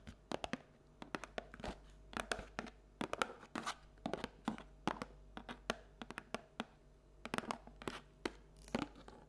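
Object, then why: Paperboard bucket. Long nails tap and scratch the bottom and sides of a hollow paperboard Halloween treat bucket held tilted with its base showing. Quick, dry clicks and papery scrapes come in uneven clusters with brief pauses. Each hit dies away almost at once, with no ring.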